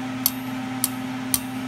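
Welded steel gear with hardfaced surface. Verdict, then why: Intact. Three sharp, high-pitched taps ring briefly on a chipped steel gear that has been welded and heated without overheating, over a steady low hum. The bright ringing shows the hardfaced surface is still intact and the hard face was not damaged.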